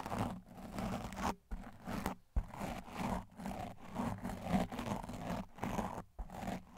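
A stiff blue plastic-bristled tile scrub brush with a white handle is brushed fast over a large black, soft, porous foam windscreen on a microphone. It makes a continuous rough, scratchy rumble in repeated bursts with brief pauses, heavy in low frequencies with a muffled, dull top.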